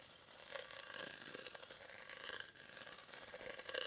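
Short fingernails scratch the weave of a hollow, cylindrical woven rattan/reed basket held in both hands. The result is a steady, dry, bright rasping scratch with small uneven surges, a faint hollow tone near 530 Hz, and almost no low end.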